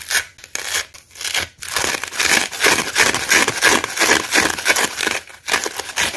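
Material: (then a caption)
Cellulose. Fingertips and short nails scratch and rub across the rough face of a hand-sized, dry, porous yellow cellulose kitchen sponge, held in the other hand, with green scourer fibres left on its surface after the scouring pad was ripped off. The result is a dry, bright, scratchy rasping in quick, uneven strokes with almost no low end. Brief pauses break up the sound near the start and again near the end.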